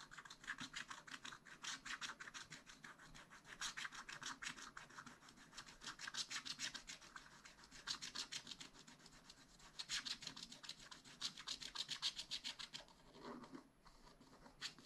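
A wooden stylus scratches a black wax-coated scratch-art sheet in a spiral-bound pad, filling in an area. Rapid, uneven back-and-forth strokes make a dry, bright, rasping sound, about three to four strokes per second. The scratching eases briefly near the end, then resumes.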